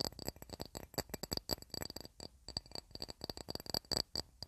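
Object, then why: Glass plate. A glass plate used as a candle holder or coaster, to keep wax stains off a wooden TV cabinet, is tapped in a rapid, uneven series. Each tap gives a short, bright clink with a high ringing tone that dies away almost at once.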